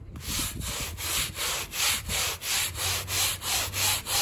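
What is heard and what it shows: A gloved hand scrubs a small, wet, muddy woven rug covered in foam, pushing a handheld stiff-bristle brush in long straight strokes. Each stroke makes a bright, hissing scratch that swells and fades in a steady rhythm of about three strokes per second.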